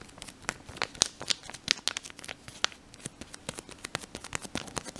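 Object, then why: Thin folded paper leaflet. A thin, folded, printed paper instruction leaflet from a mouthwash pack is held in both hands and crinkled and rubbed between the fingers. Dense, bright, dry crackles and crinkles sound in quick succession with almost no low end, each snapping off instantly.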